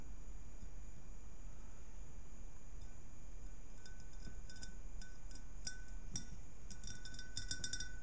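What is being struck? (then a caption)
Ribbed glass globe. Long nails tap and scratch the sides of a round, hollow, empty clear ribbed glass globe resting on a purple cloth, working in from its right and left edges. Over a quiet, steady low hiss, bright glassy clicks and short ringing pings around 1.5 kHz begin near the midpoint and cluster more densely toward the end.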